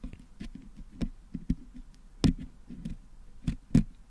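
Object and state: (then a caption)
Putty-filled metal microphone grille. A wooden toothpick pokes and scratches near the top of a Blue Yeti microphone's metal mesh grille, which is packed with blue putty, to clean the putty out. About six dull, low, close-up knocks stand out over soft scraping and faint scratchy ticks, each thud dying away almost at once.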